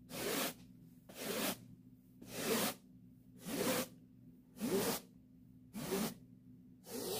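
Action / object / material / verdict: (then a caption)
scrape / woven-fabric upholstered chair seat / woven fabric / none. A white plastic-bristle hand brush is swept in seven steady strokes across a soft, padded pink woven-fabric upholstered chair seat. Each stroke makes a bright, breathy scratching rub, separated by brief quiet gaps over a faint low hum.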